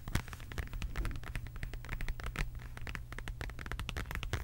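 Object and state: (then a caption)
Faux leather wallet. Long acrylic nails tap and scratch a medium, flat, hollow beige quilted faux leather zip wallet with an embossed heart pattern. The result is a quiet, continuous run of quick, dry clicks and short, bright scratches over a steady low hum. Each tap dies away almost instantly.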